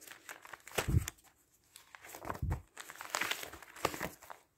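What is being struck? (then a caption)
Newsprint newspaper. A large, thin newsprint newspaper lying open on a wooden table is handled with fingertips that lift, turn and flatten its pages. Bursts of dry, bright crinkling and rustling come in uneven waves, with soft low thumps as pages settle and brief quiet gaps between turns.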